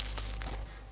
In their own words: хлябът е толкова хрупкав, слушайте!!